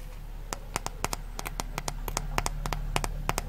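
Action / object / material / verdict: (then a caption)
scrape / foam kitchen sponge / foam / none. A small yellow rectangular kitchen sponge, frozen stiff into a solid foam block, is held in both hands and squeezed and pressed with fingertips and long nails. About 18 short, sharp crunches and crackles sound as the frozen foam gives way, spaced irregularly over a steady low hum.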